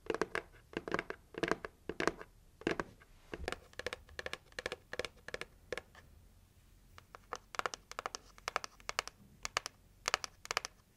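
Long nails tap and knock on the plain red side of a hollow, heart-shaped cardboard gift box. Quick, dry, bright clicks come in uneven bursts with short pauses between them. Each tap dies away almost instantly, with only a faint hollow knock beneath.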